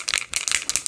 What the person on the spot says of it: you can hear a little ball in there helps to break up the pigment